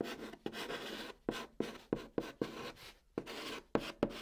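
A white chalk stick held in the fingertips writes Korean letters on the hollow top of a large, flat brown cardboard box. Short, bright scratching strokes start with sharp attacks and trail off, separated by brief quiet gaps.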